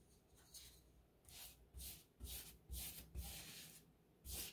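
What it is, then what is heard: Textured drywall wall being brushed. A wide, paint-laden brush is swept over a painted, textured drywall wall around a light switch box. Repeated uneven strokes make soft, bright, hissy rubbing swishes, each with a dull low scrape underneath.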